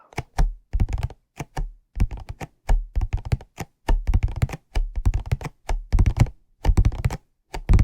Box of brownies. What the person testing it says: the hollow box does make some pretty nice tapping sounds